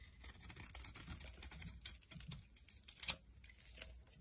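A metal utility knife blade shaves flakes from the edge of a solid pink bar of dry soap held in the hand, scraping and carving it. Quiet, dense, bright crackling scrapes run throughout, with sharper crisp cuts standing out near the end.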